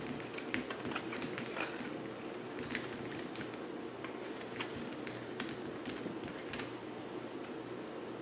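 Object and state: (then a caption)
Dry bar soap being shaved. A dry, solid white bar of soap, held in the hand, is shaved with a yellow utility knife blade. A steady, soft scraping hiss runs throughout, broken by frequent short, bright crackles and ticks as the blade cuts into the soap.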